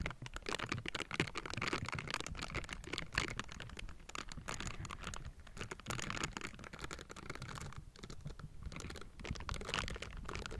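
Silicone bristle gloves scratch across the metal mesh grille of a Blue Yeti microphone, with fingers tapping and raking over the mesh. The result is a steady, dense stream of close, crackly scratches and quick, dry taps, with a full low-mid body and bright, hissy edges that barely ring.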